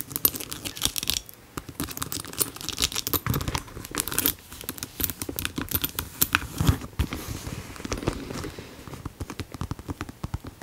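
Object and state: Faux leather handbag, tapped and scratched.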